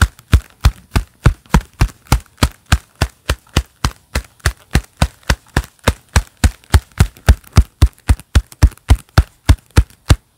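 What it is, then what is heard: Leather-gloved hands clapping. Hands wearing a pair of black leather gloves clap and flex together in a steady rhythm. About 39 dull, low-heavy claps come roughly three to four per second, each with a very short decay and only a faint high edge.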